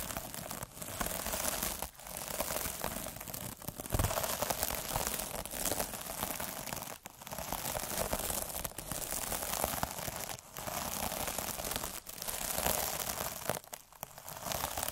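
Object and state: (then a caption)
Plastic mesh scrub sponge scraped with a needle roller. A metal-needle derma roller is rolled by hand across an iridescent plastic mesh scrub pad resting on a dark surface. It makes a dense, crackling, crinkly scratch that runs almost continuously and sounds bright. Brief dips break the sound between rolling strokes.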